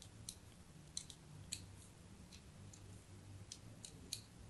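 A metal blade scores dense crosshatch lines into the surface of a solid white soap bar held in a hand with pink nails. Quiet, crisp, bright clicks and short scrapes sound at irregular intervals, each dying away almost instantly. A low, steady hum runs underneath throughout.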